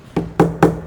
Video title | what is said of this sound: Kyudo: Introduction and equipment with Jessica【弓道】 | L'intérieur est creux comme vous pouvez le voir, donc ça sonne comme un tambour